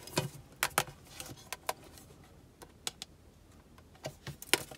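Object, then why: Small thin metal tin box. Long nails tap and rub the sides and labeled back of a small, hollow, rectangular black-and-gold printed metal tin of Chinese sandalwood soap with the soap bar inside. The result is a quick, irregular series of sharp, bright metallic clicks and taps that die away almost instantly, with faint scraping between them.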